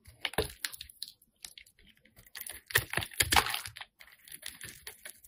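A metal blade scrapes and carves the surface of a solid, hand-sized, light-blue bar of soap held in the hand. The result is a rapid series of dry, crisp scratches and crackly shaves with a bright, hissy edge and almost no ring. The scrapes come in irregular bursts with brief pauses between them.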